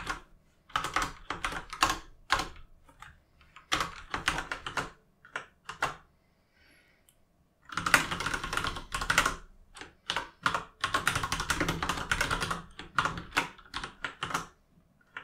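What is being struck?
Mechanical keyboard with plastic keycaps.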